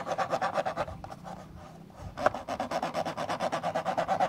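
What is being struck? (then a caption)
Plastic camcorder lens hood. Fingertips and nails scratch and rub rapidly inside the black plastic, hollow, rectangular lens hood of a camcorder, making a quick rhythmic rasping with a hollow midrange tone. The strokes soften and pause briefly near the middle, then a sharper scrape restarts the steady scratching through to the end.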